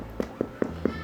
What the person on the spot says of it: that knock on the bread like knocking on the door and so it should be Hollow enough